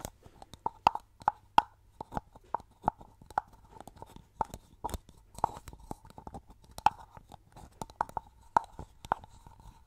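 Long painted nails tap and scratch a hollow, medium orange plastic styling cream bottle and its orange plastic cap, held in front of the microphone; the bottle's fill level is not visible. A quick, uneven series of short, dry, clicky taps rings briefly with a hollow tone around 880 Hz, with faint scratching between the hits.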